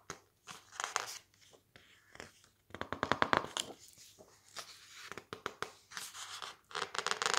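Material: Coated paper.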